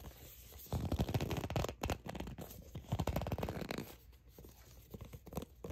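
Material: Plastic.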